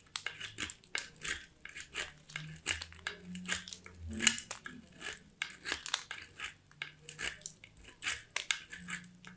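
A small, solid white soap bar is grated on a small handheld steel box grater in quick scraping strokes. Each stroke gives a short, bright, crunchy rasp with almost no ring. There are about two dozen separate strokes, over a faint low hum.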